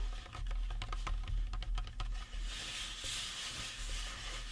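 Fingertips tap and scratch the face and cranium of a life-size painted resin or plastic Halloween prop skull. The first half is a quick, uneven run of short, dry taps, followed by a steadier, brighter scratching hiss. A low hum sits underneath throughout.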